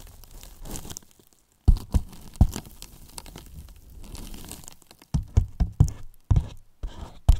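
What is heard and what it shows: Two wooden brush handles tap and scrape along the top edge and sides of a large white hollow polyethylene foam box. Deep, short hollow thumps alternate with stretches of dry, crinkly scraping and rustling, with a silent pause early on.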